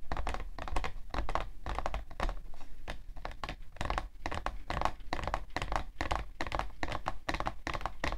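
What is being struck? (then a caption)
Cardboard tissue box. Long nails tap quickly and steadily on the side panel of a hollow, printed cardboard tissue box. Each tap is a short, dry click centered around 1 kHz with a dull low thump beneath it, dying away almost at once without ringing.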